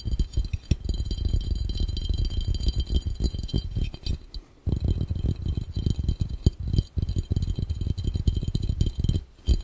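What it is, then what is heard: Glass fishbowl. Fingertips tap rapidly and intensely on a clear, round, hollow and empty glass fishbowl held over the camera. The taps land as dense, dull, low thuds with faint bright glassy tones above, broken by brief pauses near the middle and the end.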